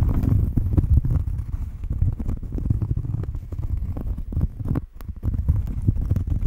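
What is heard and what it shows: Long fingernails scratch the surface of a round, flat cork coaster held just in front of the microphone. The result is a dense, continuous run of rapid scraping strokes heard as a deep, rumbling, muffled texture with almost no high or bright content. The scratching briefly drops out just before the five-second mark and then resumes.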